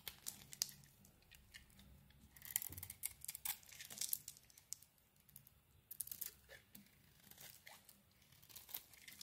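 An oval, solid green bar of soap with a purple coating is held in the hand and carved with a utility knife blade. The result is a run of dry, crisp scraping and crunching strokes, bright and close, like tearing, with quiet pauses between bursts and a faint low hum underneath.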